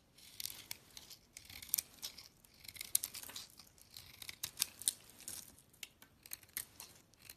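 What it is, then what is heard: Bar soap being scraped and cut. A utility-knife blade scrapes and cuts a bar of white soap, its pink layer mostly removed to leave the white solid core. Quiet, dry, high-pitched scraping strokes and crisp little snicks come in uneven bursts with almost no low end. Each cut ends abruptly with no ring.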